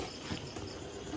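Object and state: Nothing is struck.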